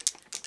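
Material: Glass.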